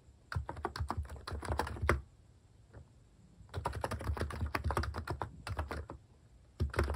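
Fingertips type rapidly on a compact plastic mechanical keyboard with cream and brown plastic cat-face keycaps and a hollow plastic case, resting on a wooden desk. Quick bursts of tapping keystrokes with a soft, low, thocky tone come in runs separated by short pauses before the typing picks up again.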